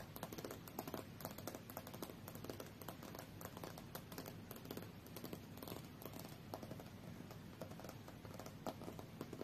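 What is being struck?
Glass tablet screen.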